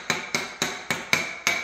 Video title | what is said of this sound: They Told Me Not To Do It Like This - THE HANDYMAN - | no matter where I tap this there are no Hollow spots